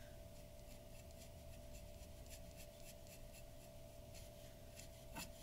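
A glass dip pen's nib scratches across a large flat sheet of white drawing paper resting on a wooden table in continuous ink strokes. The quiet, soft, bright scratching repeats in short strokes over a steady low rumble and a faint constant hum, with one slightly louder scrape near the end.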